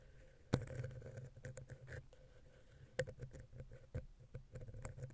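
A wooden ear pick, held vertically, taps and scratches between the heads of a small, hollow silver metal X/Y microphone capsule on a Zoom H6. Close, low, rumbling scratches and soft patters run throughout, broken by two sharp, bright taps that stand out above the rest, along with a few fainter clicks.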